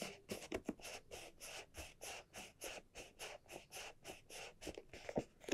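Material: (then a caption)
Leather. Long nails tap and scratch the surface of a small red croc-embossed leather barrel bag with dark straps while the bag is held and turned. About twenty quiet, quick, brushy bursts come in a steady rhythm, with a few sharper clicks mixed in.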